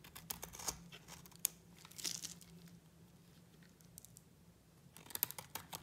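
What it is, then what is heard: Dry bar soap. A utility knife blade scrapes a hand-sized, solid pink bar of dry soap into thin shavings. Crisp, bright crackling and tearing bursts cluster at the start and end, with a quieter stretch between, over a faint steady low hum.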